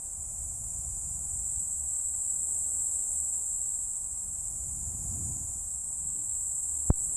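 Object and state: Nothing is struck.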